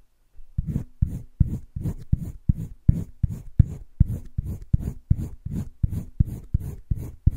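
A green wooden colored pencil, held by the fingertips, makes short shading strokes across a flat spiral-bound sketchbook page. A steady series of brief, dry scratching rubs repeats at a moderate, slightly uneven pace. Each stroke is soft and low-weighted, with a faint bright edge, and stops dead without any ring.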